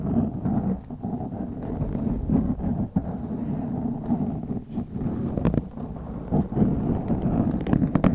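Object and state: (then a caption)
Foam microphone windscreen being scratched. Long glittery acrylic nails scratch across a black foam windscreen on a white microphone. The result is a dense, continuous rumbling scratch, heavy in the low end around 200 Hz, with brief louder swells and almost no high content.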